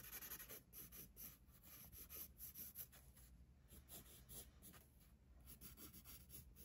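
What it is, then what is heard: Pencil strokes on a paper sketchbook page. A pencil scratches light strokes across the page of an open paper sketchbook resting on a desk. Quiet, bright, scratchy strokes come in short bursts over a steady low hum, rising and fading with each movement.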